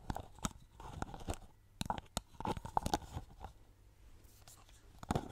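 Long painted nails tap and scratch a medium orange plastic styling cream bottle and its orange plastic cap, held close to the microphone; the bottle is hollow, with the fill level unknown. A series of quick, dry, crunchy clicks with a hollow plastic tone around 855 Hz is interspersed with soft scratching, and each tap dies away almost instantly.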